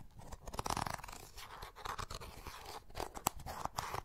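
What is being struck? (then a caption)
Plastic makeup compact. A small, hollow, closed oval beige plastic makeup compact is held in both hands while fingernails tap and scratch around its rim and lid. The result is quiet, dry clicking and scraping with a hollow midrange tone around 820 Hz and no ring between the taps.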